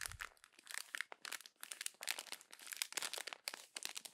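The pages of a thin glossy paper magazine lying open on a table are crumpled and pressed by fingertips and long acrylic nails, crumpling and rubbing the paper. The result is a steady run of bright, dry crinkles and crackles in quick, uneven bursts, with a brief soft low thump at the very start.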